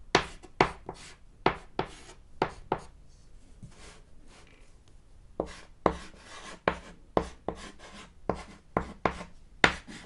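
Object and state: Chalk writing on a chalkboard.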